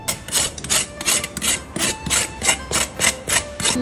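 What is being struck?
Roast pig skin scraped with a knife blade.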